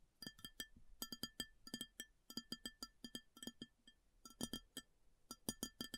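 Long fingernails tap rapidly on an empty, large round white ceramic plate, in quick bursts of clicks with short pauses between them. Each tap is a bright, sharp tick with a faint ringing overtone and a soft low knock underneath, and it dies away almost instantly.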